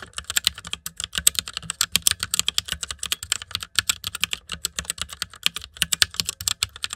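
Fast fingertip typing on a white mechanical keyboard with plastic keycaps resting on fur. It gives a steady stream of quick, bright, clicky keystrokes, each dying away almost instantly, with little low end.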